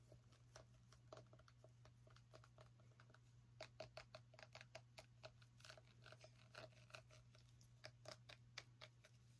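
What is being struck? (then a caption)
Small pumpkin rind. A small orange pumpkin is tapped with long nails in a quick, irregular series of short, dry clicks that grow denser and louder in the second half. Each tap dies away almost instantly over a steady low hum.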